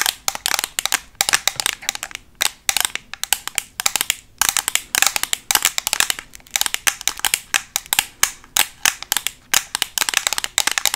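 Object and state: Plastic eyeshadow palette.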